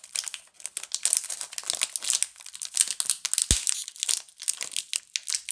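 A pink Camay plastic-film multipack of bar soaps is picked at the seam by fingers and long nails, which rub and crinkle the film while opening it. The result is dense, bright crinkling and rustling with short, sharp bursts and a brief low thump partway through.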